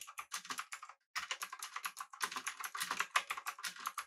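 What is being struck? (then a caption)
Mechanical keyboard, aluminum body and round plastic keycaps. A full-size backlit typewriter-style mechanical keyboard with blue switches, an aluminum body and round plastic keycaps is typed on rapidly with the fingertips of both hands. A fast run of sharp, clicky keystrokes with bright, crisp attacks and no low end pauses briefly near the one-second mark, then resumes in dense bursts.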